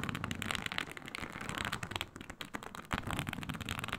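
Long nails scratch across a flat, iridescent snake-scale synthetic leather mat, a snakeskin-textured faux leather sheet. The result is a dense, continuous crackling scrape with bright, gritty texture and a low rumble underneath. It dips briefly past the two-second mark, then swells with a sharper stroke before continuing steadily.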